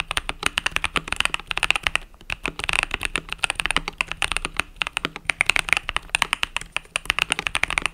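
Fingertips with long nails rapidly type on a compact mechanical keyboard with cream and purple plastic keycaps resting on a desk mat. The result is a fast, steady stream of short, bright, crisp clacks with almost no low end, and a brief lull around the two-second mark.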